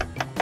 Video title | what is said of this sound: BERBURU MOBIL BEKAS - TIPS DAN TRIK CARI MOBIL KLASIK | ini suara depul tapi pasti kedengaran antara suara suara besi sama bukan pastikan suaranya besi ya